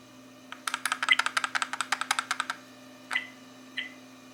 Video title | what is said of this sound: 1080p novatek Car DVR rear view mirror rattling noise | a rattling noise. That's a rattling.